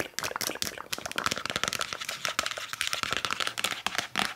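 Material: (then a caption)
Plastic. Long nails rapidly tap and scratch a hollow, translucent plastic nasal rinse squeeze bottle with a blue nozzle. The result is a fast, dense stream of bright, dry clicks and crinkly scratches with a faint steady tone around 1.3 kHz.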